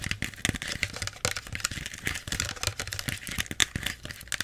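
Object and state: Plastic soda bottle.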